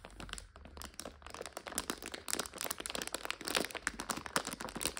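A clear plastic bag full of dried egg noodles is held in both hands while fingers and long nails squeeze and scratch it. A dense, continuous stream of bright crinkles, crackles and crunches plays out, with each snap dying away almost instantly. The sound is quiet overall and has very little low end.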